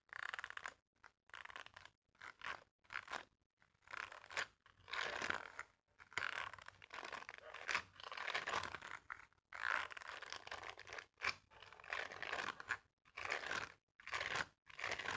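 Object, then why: Silicone scrubber glove bristles. A wooden comb is repeatedly scraped across the bristle-covered palm of a mint-green silicone dishwashing glove held flat. The clip is a series of dry, scratchy scraping strokes, each a short burst of bright, papery rasp separated by brief silences, with almost no low end.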